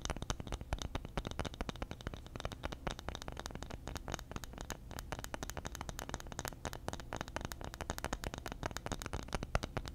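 Long fingernails scratch and tap a round, flat, solid bamboo lid held in the hand. The result is a steady ten-second stream of rapid, dry clicks and scratchy rustling, with a low, muffled body and a faint bright edge. Each tap dies away almost at once.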